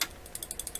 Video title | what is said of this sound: Canadian Admiral YS-3610 Record Player Restoration | It's plenty loose. You can shake it and it makes that sound.